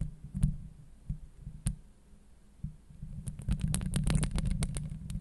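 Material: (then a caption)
Steel mesh. Long acrylic nails scratch and tap the hollow steel wire-mesh grille on a Blue Yeti microphone head. The sound is deep, muffled thumps and rumbles with faint bright clicks. Scattered taps give way to a denser run of scratching and tapping toward the end.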